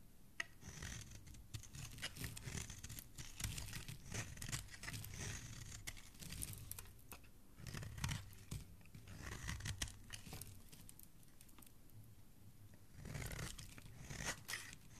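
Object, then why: Bar of soap scraped with a metal blade. A metal utility blade, held by fingers with dark nails, scrapes thick crunchy curls off a solid white bar of soap. Quiet, dense crackling scrapes come in bursts with a bright, papery edge and a soft low rumble, easing into a lull before a final run of scraping.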